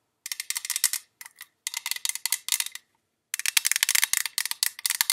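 Long pink acrylic nails tap rapidly on the printed side of a tall, hollow, pale-green cylindrical metal tin with a gold rim, about 15 cm tall, from Jean Paul Gaultier La Belle packaging, held in both hands. The taps come in quick bursts of bright, dry clicks with a faint ring near 2.5 kHz and almost no low end. Short silent pauses separate the bursts, and the last burst is the longest and loudest.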